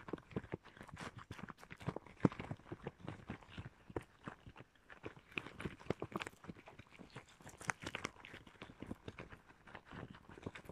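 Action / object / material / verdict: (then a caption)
scrape / rubber gloves / rubber / none. Red rubber gloves worn on both hands are rubbed and pressed together at the palms and fingers, giving squeaky rubber friction. A dense, continuous run of short crackling and squeaking bursts fills the clip at a fairly quiet level, with no pauses.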